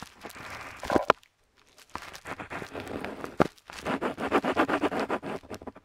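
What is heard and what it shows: A metal dip pen nib scratches across a flat paper map sheet in close-up while inking letters. Quick, scratchy strokes and sharp ticks come in bursts, with a brief silent pause after the first second before a faster run of rhythmic strokes.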